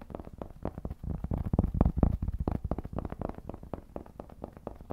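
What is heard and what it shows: Fingertips quickly scratch and tap the face of a round, flat, solid cork trivet held in both hands. The result is a rapid, irregular patter of soft, muffled thuds and dry scratches, mostly low and dull with no ring, swelling briefly louder in the middle before easing back.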